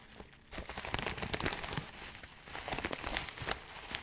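Fingertips crinkle and squeeze a labeled clear plastic bag of dried herbs filled with small dried granules. After a quiet half-second, a steady stream of bright, crackly crinkles follows, with the granules shifting and rustling inside the plastic.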